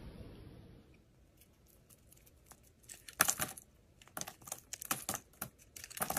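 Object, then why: Bar of soap scraped with a metal blade. A steel utility-knife blade scrapes and shaves thin curls off the surface of a solid, hand-sized blue oval bar of soap held in the hand. After a quiet, low-noise opening, short, crisp, bright scraping strokes come in bursts from about three seconds on, each ending abruptly with no ring.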